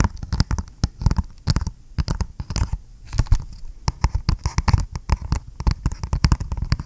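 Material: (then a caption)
Cardboard. Fingernails rapidly tap and scratch a flat, hollow, printed cardboard retail box for G.Skill memory held close to the mic. The result is a dense, uneven run of short, dull, hollow thumps, heavy in low end, with brief dry scratching between taps.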